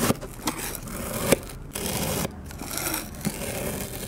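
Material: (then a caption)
Kinetic sand. A metal knife fitted with a clip-on microphone slices horizontally through the side of a solid, round puck of pink kinetic sand resting on an MDF board. The result is a steady, gritty scraping hiss with a few sharp clicks, broken by two brief quiet gaps as the blade moves through.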